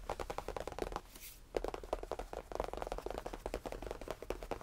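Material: Faux leather.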